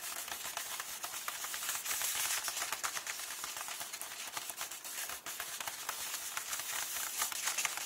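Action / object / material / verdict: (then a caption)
tap / paper book pages / paper / none. Fingertips with long nails tap and rub the printed paper pages of an open hardcover book, on a text page reading "KULL." The result is a steady stream of crisp, dry clicks and papery scratches with bright hiss and almost no low end.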